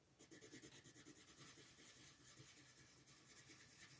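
A yellow wooden colored pencil held in the fingertips rubs and scratches back and forth across a thin printed paper mandala page lying flat on a wooden table while coloring. Quick, rhythmic strokes give a soft, bright rasping scratch that settles into a steadier rub.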